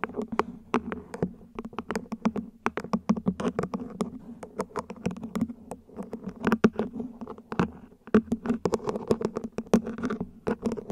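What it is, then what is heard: Plastic plant pot tapped with nails. Long nails tap and scratch the ribbed sides and top of a small, hollow, mint-green ribbed plant pot, probably plastic, placed upside down. Quick, dry, hollow taps with a low tone die away almost at once, mixed with soft ridged scratching. The pattern is an uneven, fairly quiet patter of many closely spaced hits throughout.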